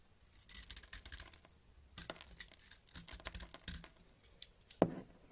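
A yellow box-cutter blade scrapes and carves shavings off a solid white bar of soap held in the fingers over a white table, where the soap flakes pile up. Quiet, crisp, bright scraping strokes come in short bursts, with one sharper, louder scrape near the end.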